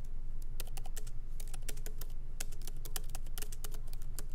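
Both hands type with their fingertips on a MacBook Pro laptop keyboard, with plastic keycaps set in an aluminum body, resting on a wooden desk. Light typing taps come in an uneven stream of short, dry clicks with bright tops. A steady low rumble runs underneath throughout.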